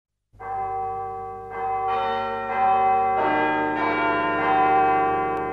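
A cracked bronze bell, with a marked crack running to its rim, is struck several times before being repaired. Each strike rings out with a bright, sustained tone around 760 Hz, and the overlapping strikes layer into a dense, shimmering ring.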